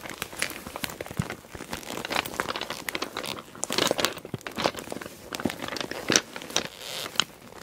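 Fingers with long dark nails grip and squeeze a small, closed, clear PVC cosmetic bag with pink holographic trim, packed full of small glass nail polish bottles. The plastic gives a steady, dense crinkle with bright, high crackles, while the glass bottles clink sharply inside as they shift.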